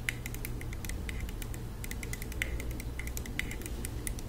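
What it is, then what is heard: Plastic spray bottle tapped with nails. Long acrylic nails rapidly tap a small, flat, hollow plastic Touchland hand sanitizer mist spray bottle, filled with pink liquid and held in the hands. The result is a quick run of light, clicky ticks ringing near 2 kHz with bright edges, over a steady low hum.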